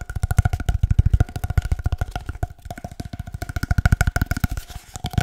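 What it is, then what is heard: Hollow cardboard tube. An empty, hollow cardboard paper-towel roll about 25 cm long is held near the mic and tapped with the fingertips in a fast, uneven stream of dozens of hollow taps. Each tap is a deep, boomy thump around 90 Hz that dies away almost instantly, with a faint steady tone near 700 Hz and 1.4 kHz running under the patter.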